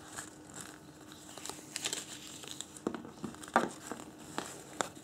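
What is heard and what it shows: A thin, folded printed paper instruction leaflet, held in both hands, is rubbed and folded with the fingertips. Soft, quiet crinkling and rustling runs throughout, broken by sharper, brighter crackles that stand out most strongly about halfway through.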